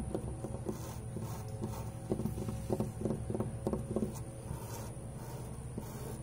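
Fingertips and nails tap and scratch a large, old, weathered grey wooden board fence with solid knotted planks, first along the horizontal rail and then on the vertical boards. Irregular dull, low knocks mix with soft scratching, with a faint steady high tone underneath throughout.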